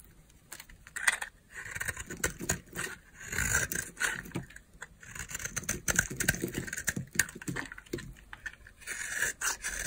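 A utility knife blade scrapes flakes off a solid green oval bar of dry soap held in the palm. Repeated crisp, dry scraping strokes come in quick bursts with bright, crunchy grit and very little low end. Each stroke ends abruptly, with short pauses between bursts.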